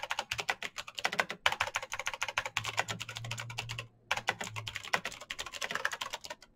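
Fast fingertip typing on a black Razer BlackWidow mechanical keyboard with plastic keycaps on clicky green switches gives a dense stream of sharp, bright clicks and clacks. The typing pauses briefly near the start, around 1.4 seconds and again just before 4 seconds, and a faint low hum sits under the middle of the clip.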